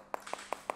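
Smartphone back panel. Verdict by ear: Plastic.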